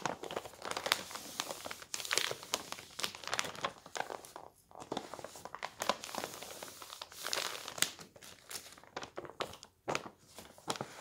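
Both hands roll and fold the thin pages of a paper newspaper on a table, then rub them flat with the palms. The result is dense, bright crinkling and crackling in quick bursts with short pauses, and almost no low end.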